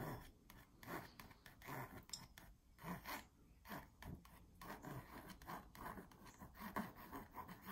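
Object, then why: Stretched canvas wall print on a wooden frame. A long fingernail traces, taps and scratches the smooth printed surface of a small "Coffee & Friends" stretched canvas hanging on a wall over a hollow frame. Quiet, dry rasping strokes alternate with soft, hollow, low thuds that die away almost at once.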